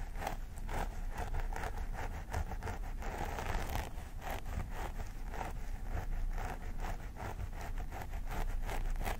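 Both hands scratch along the parting of a vinyl mannequin doll head with long grey-blue synthetic hair, using medium-long fingernails. Crisp, rapid scratching and rustling strokes repeat steadily over a low rumble, with brief bright bursts on each stroke.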